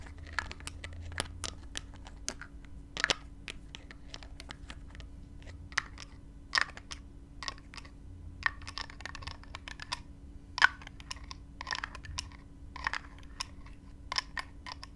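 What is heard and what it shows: Long fingernails tap and scratch the black plastic cap of a small clear plastic spray bottle, partly filled with glittery liquid, while one hand holds its body. Quick, dry, bright clicks and scratchy ticks come in an irregular stream, with a few sharper taps standing out, over a faint steady low hum.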